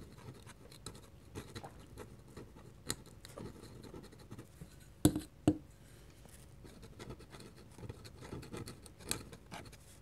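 A metal pen nib scratches short ink strokes near the edge of a drawing on a flat white paper sheet. Soft, irregular scratching fills the clip, broken by two sharper, louder taps about half a second apart midway through, over a faint steady hum.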